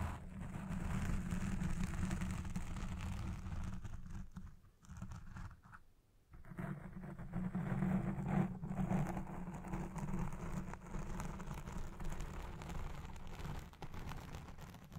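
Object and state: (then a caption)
Foam microphone windscreen being scratched. Long nails scratch the top and sides of a black foam windscreen on the recording microphone, producing a dense, muffled rumbling scratch that is mostly low, with a strong hum around 190 Hz. The scratching briefly dips quiet twice before returning at full strength.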